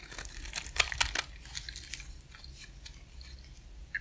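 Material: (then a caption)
Soap. A partly carved, solid white dry cream soap bar is held in the hand and shaved with a utility-knife blade. Dry, bright crunching and crackling scrapes come loudest in a cluster near the first second, then settle into a softer, steady shaving rasp, with one final sharp crackle at the end.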